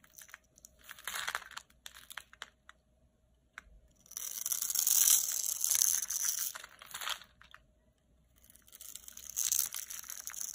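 A utility knife blade scrapes grid lines into a very dry, solid red bar of soap held in the palm, shaving off crumbly cubes. Short, crisp scratches come first, then longer bright, gritty scraping and crunching passes in two louder stretches, with the crumbling soap giving a dry, crackly texture throughout.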